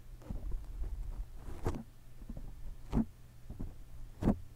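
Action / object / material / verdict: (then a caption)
scrape / foam microphone windscreen / foam / none. A black foam windscreen over a microphone is gripped, then scratched from above with long nails. Close, muffled low rustling and thumping builds into louder, brief scratchy bursts that rise in brightness, over a steady low hum.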